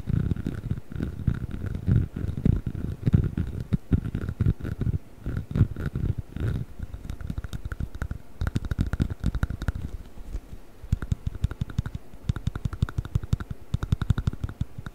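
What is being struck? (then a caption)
Rubber chicken toy. Fingertips scratch and rub the rubber body of a hollow yellow rubber chicken toy held close to the microphone. The result is a dense, low, rumbling texture of rapid scratchy strokes and soft crackles, with a faint steady tone riding above it. Toward the end the strokes become quicker and sharper.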